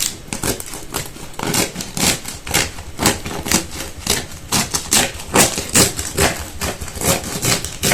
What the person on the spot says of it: Listen to how crispy it is